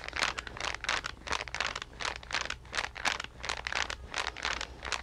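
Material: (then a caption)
Card. A green card-covered paper sketch pad is held in both hands and flexed while long nails tap and scratch its cover. The result is a quick, uneven run of bright, crinkly scratching bursts over a faint steady low hum.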